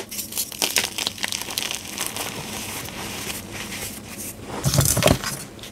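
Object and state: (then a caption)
Gym chalk block crushed. Fingers dig into, squeeze and break pink dyed gym chalk, a solid block and loose powder in a tray. Dry, gritty crunches and crumbling rubs run through the clip in quick, uneven bursts, with a louder, fuller crush near the end.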